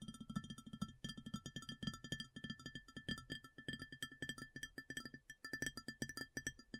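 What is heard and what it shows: Long fingernails tap fast on an empty, large round white ceramic plate, making a rapid, steady run of sharp clicks. Each tap dies away almost at once, with a low body around 200 Hz and bright, ringing tones near 1.3 kHz, 1.8 kHz and 3 kHz.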